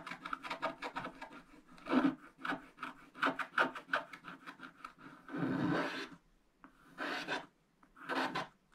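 A wooden stylus scratches the right edge area of a black-coated scratch-art page in a spiral book. A rapid series of short, raspy strokes gives way to three longer, steady scrapes with quiet gaps between them. The rasp has a low body and a brighter hiss on top.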